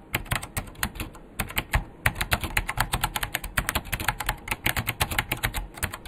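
Fingertips type fast with both hands on a vintage beige plastic full-size KPT-102 mechanical keyboard with Alps switches and a hollow case. The result is a rapid, steady stream of sharp, bright clacks, each with a low, hollow thud beneath it. Every keystroke cuts off almost immediately.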